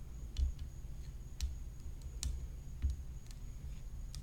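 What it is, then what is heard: Graphite composite tennis racket tapped with fingernails. Long fingernails tap the hollow rim of a graphite composite tennis racket whose head is decorated with rhinestones. Short, sharp clicks fall at irregular intervals, each decaying almost instantly. A steady low hum and a faint high-pitched tone sit underneath throughout.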